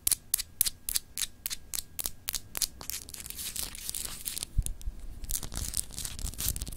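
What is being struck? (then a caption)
Glass globe paperweight. Long acrylic nails scratch a palm-sized solid clear glass globe paperweight with etched continents, held in the hand. Crisp, bright scratches start as short separate strokes, then blur into denser, continuous scraping with a few soft low bumps from handling.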